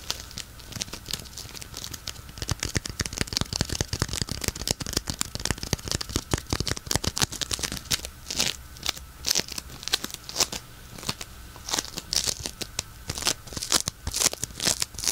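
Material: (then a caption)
Polystyrene beads. A palm-sized, solid, cream-white lump of white polystyrene bead floam is squeezed, kneaded and crunched with the fingers of both hands. It gives rapid, dense bursts of bright crackling and crunching that swell and fade with each squeeze. The clicks are sharp, with almost no ring after them.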